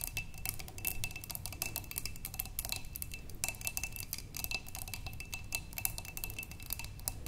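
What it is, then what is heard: Glass vase. Long nails tap rapidly and continuously on a large clear glass vase, partly filled with water with green stems inside, resting on a wooden table. Each tap is a short, bright click with a faint glassy ring near 2.6 kHz over a steady low rumble.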